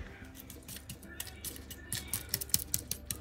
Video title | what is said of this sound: What’s For Dinner -- DEAN DINNERS -- Working Mom Meals -- WEEKLY DINNERS | see if y'all can hear how crispy